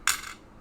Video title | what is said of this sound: Pennies Mish Mash of things 📪Mail Call | Just by the way it sounds tinny